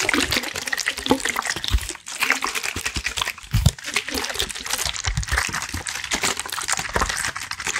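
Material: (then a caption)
Plastic. A clear plastic water bottle with a red cap and white label, partly filled with water, is held in one hand while fingertips and nails tap and squeeze it. Rapid, crackly plastic taps and crinkles fill the clip with bright, dense texture, punctuated by a few low thumps as the water sloshes inside. There is a brief dip around two seconds.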